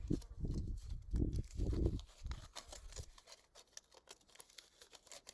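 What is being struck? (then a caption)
Small piece of aluminium foil. A small, thin piece of aluminium foil in a hollow, crumpled shape is held in the fingertips and crinkled and squeezed by hand outdoors over grass, with more foil pieces lying untouched on the grass. Dense, muffled crinkling bursts with a heavy low rumble come in waves for the first three seconds. They then thin out into quieter, sparse, bright crackles and ticks.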